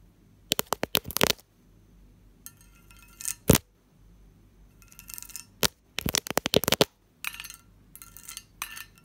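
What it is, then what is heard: Cut-glass lidded dish. Fingernails tap the lid and sides of a medium, hollow, textured cut-glass covered dish, giving bright, sparse ringing taps. The taps come in quick clusters, with softer, brushing passages between them.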